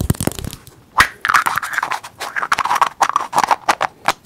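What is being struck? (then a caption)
Small hollow plastic egg shaker. A small, hollow, teal plastic egg shaker, held between the fingers close to the mic, is tapped and scratched with the fingertips and nails. Quick, dry clicks and short scratchy bursts come in an uneven, rapid run, with a bright hollow tone centred around 1–2 kHz and almost no low end.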